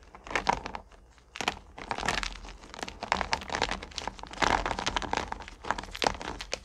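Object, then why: Small hard candies in a plastic bucket. Both hands scoop up small solid candy corn pumpkins and drop them back into a purple plastic bucket, rubbing them together. Dense bursts of crinkly, clattering rattles rise and fall, with bright clicks as the candies tumble and knock against each other and the plastic.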